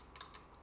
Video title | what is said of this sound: PC BUilD 6750 | It's not plastic it sounds like plastic when you go like that but it's not plastic it's more like that diecast sort of metal